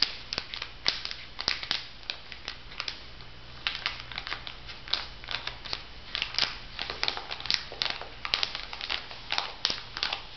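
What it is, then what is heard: Plastic-wrapped makeup sponge pack being crinkled. Fingertips rub and crinkle the plastic film wrapping a makeup sponge pack on a paper card, then lift the packet. Dozens of quick, bright crinkles and crackles come in uneven bursts over a faint, steady low hum.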